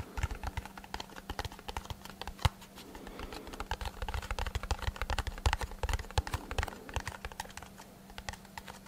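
A small, hollow brown kraft cardboard box held in both hands is tapped and scratched with fingertips and short nails. The result is a quick, irregular flurry of dry, short taps with hollow low thuds and light scratchy rustling, over a faint steady low hum.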